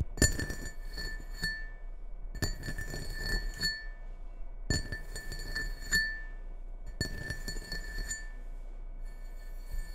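Fingertips and nails tap the outer wall of a medium red ceramic bowl with a white Christmas print, hollow and empty, resting on a wooden table. Four bursts of quick, light taps ring out with a clear, bright glassy clink and a steady tone near 2 kHz, each tap fading quickly over a low background hum.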